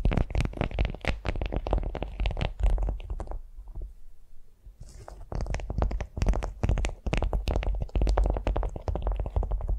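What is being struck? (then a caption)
Beeswax-coated cotton food wrap. Long nails scratch and tap a flat beeswax-coated cotton food wrap lying on a vinyl mat. Dense, rapid crinkly scratches and soft taps carry a heavy low thump. They ease into a quieter stretch midway before the busy scratching resumes.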